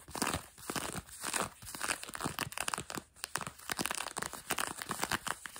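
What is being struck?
Denim jeans over a knee.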